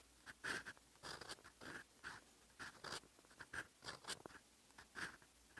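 A steel fountain pen nib scratches across a lined paper sheet while writing Korean script, with fingers gripping the pen. Steady, short writing strokes come as quiet, dry scratches with bright, hissy tops and a faint squeak near 1.5 kHz.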